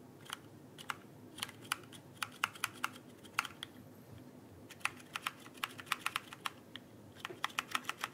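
Fingertips tap and press the plastic keycaps of a backlit plastic mechanical keyboard held upright. The result is a quiet, irregular run of short, sharp, bright clicks, some in quick clusters, with a brief pause near the middle.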